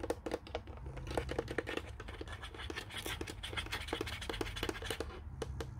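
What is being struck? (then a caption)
Plastic desk telephone casing and grille. Fingertips and nails tap and scratch quickly over the speaker grille and the plastic casing around the keypad of a white, hollow plastic Panasonic corded desk phone. The result is a dense run of light, hollow clicks with very short ring, layered over a steady, soft scratching rasp and a low background hum.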